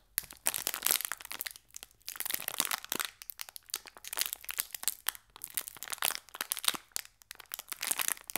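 A small, full, green Gullón biscuit pack in metallized foil-plastic wrap is crinkled between fingertips with short painted nails, while a second pack rests untouched at left. It makes dense, bright, crackling crinkles with almost no low end. They come in rapid bursts with brief pauses, and each snap dies away almost instantly.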